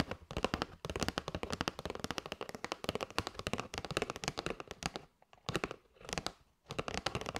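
Long white nails tap rapidly on a flat kraft cardboard box with a clear plastic window showing patterned paper straws, held up in both hands. The result is dense, crisp clicking taps with bright, dry crackle, broken by two brief pauses near the end before the tapping resumes.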